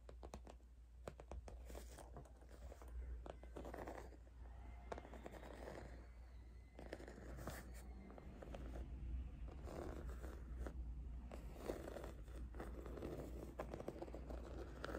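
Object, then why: Faux leather zip cosmetic pouch. Long red acrylic nails scratch and tap a small pink faux leather zip cosmetic pouch with embossed roses, soft and hollow, held upright on a satin surface. Quiet, continuous scratchy rustling is broken by frequent soft, dull taps over a steady low hum, with most of the energy low and little brightness. Each tap dies away almost instantly.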